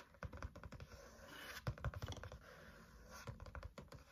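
Fingertips tap and drum on the green card or plastic cover of a medium spiral-bound notebook with black wire binding and a solid paper stack, held tilted in hand. The result is a rapid, uneven series of soft, dull, low thuds with very short decay and little brightness, with a faint scratchy brushing between the taps.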